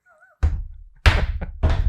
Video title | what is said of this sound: Never Left Behind Episode 26: Afghanistan | it's got some weight you can hear that